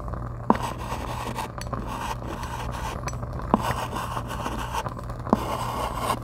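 A white chalk stick held in the fingers writes and scrapes across a flat dark chalkboard with a gold frame, while a lavalier mic rests on the board under the other hand. A steady, soft, gritty scratching sits over a low hum, and three sharp ticks stand out as the chalk strikes the board.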